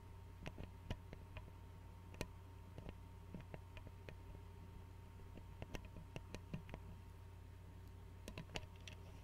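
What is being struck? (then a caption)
Glass bottle with metal screw cap. Fingernails tap and click on the screw cap and glass neck of an Arizona glass tea bottle held sideways. Short, sharp clicks come in irregular clusters, some brighter and louder than others. A steady low hum runs underneath throughout.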